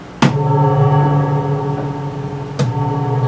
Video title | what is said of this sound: Acoustic 470 Guitar Amp Reverb Repair | if i tap it i can hear that i can hear the reverb tank so the pickup side of it seems to be working